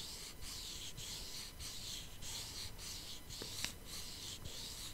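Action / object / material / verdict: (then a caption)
scrape / foil-covered cardboard palette box / cardboard / none. Long painted nails scratch a flat, hollow cardboard makeup palette box with holographic foil, held beside the microphone. Steady, bright scratching strokes repeat with brief pauses between them, and a sharp tick stands out near the end.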